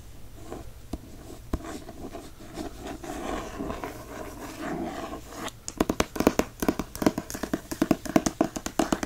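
Fingertips tap and trace the front paper dust jacket of a hardcover book, making soft, dry rustling and brushing sounds with a few light taps. After about five and a half seconds, they scratch the back cover in a quick, sharp run of crisp, clicky strokes that grow louder and more percussive.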